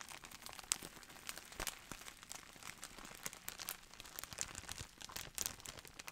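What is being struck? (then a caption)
Plastic bubble wrap roll. A clear plastic bubble wrap roll in a printed sleeve, with air-filled bubbles, is squeezed and crinkled by both hands. The result is a dense, steady stream of bright, crisp crinkles and sharp little crackles with almost no low end, at a soft, close level.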